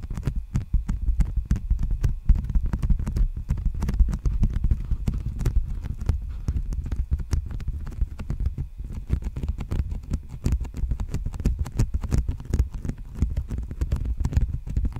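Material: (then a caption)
Plastic. An empty large black poly bubble mailer envelope is held upright and then horizontally in front of a microphone while fingertips tap and scratch it. The result is a steady 15-second stream of quick, dense, low, muffled thumps with short crinkly scratches between them.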